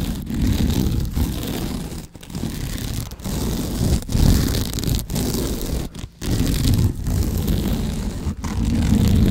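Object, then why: Sisal rope wrapped cylinder. Fingertips and nails scratch along the woven sisal/jute fibres of a rope-wrapped cylinder held diagonally across the microphone. This makes a dense, rough, low-heavy rasping in repeated strokes. Brief dips of near-silence fall between strokes throughout.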